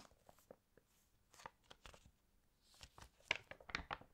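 Long nails and fingertips rub across and turn the pages of an open, glossy paper fashion magazine. The result is quiet, irregular crinkling with crisp, bright scratches and taps. The sounds grow denser and louder toward the end.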